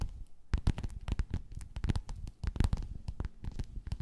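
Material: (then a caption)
Faux leather. Long nails scratch and tap across a flat, padded, gold, quilted metallic faux-leather cover. A rapid, uneven series of soft, dull taps and brushing scratches follows, each with a low muffled thump and a brief bright edge. The sounds die away at once without ringing.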